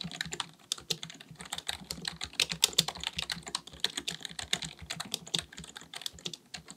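Two hands type continuously with their fingertips on a black, full-size plastic keyboard with a hollow body, likely mechanical, resting on a desk. About 39 rapid key taps come through as bright, crisp clicks with very short decay and little low end, setting a quick, uneven rhythm throughout.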